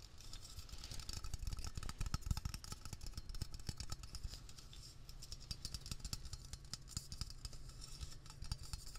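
Fingertips tap quickly on the body and label of a Blue Coral aerosol can, a hollow metal cylinder with a blue plastic scrub cap, held close up. A dense stream of short, dry taps with soft low thumps and bright clicky edges runs over a steady low hum, each tap dying away almost instantly.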